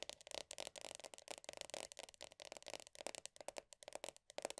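Long nails rapidly tap and scratch the black, printed top of the lid on a medium round plastic body butter tub. The result is a quick, continuous run of dry, clicky taps and scratchy rasps, bright with a faint hollow tone near 580 Hz. Each tap stops almost instantly, with no lingering ring.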